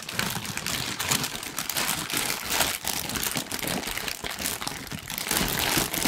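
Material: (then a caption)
Paper. A thin sheet of pink tissue paper is bunched up and crinkled with fingers close to the microphone. It makes a dense, continuous crackling and rustling that is bright and airy, with little low end. The crinkling runs steadily for about six seconds with small swells in loudness.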